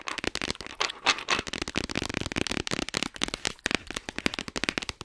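Long white nails rapidly tap and scratch on the surface of a flat, printed, hollow cardboard game box held just above a foam-covered mic. The clicks are dry, crisp and bright, with almost no ring and little low end, crackling in quick uneven bursts.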